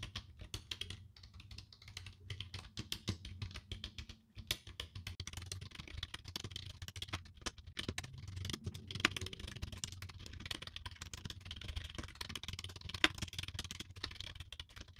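A full-size black plastic computer keyboard lies flat while its keys are tapped and typed on quickly with long dark-painted nails and fingertips. The result is a dense, steady stream of short, dry, bright clicks and clacks over a soft low rumble, with a few sharper, louder taps standing out.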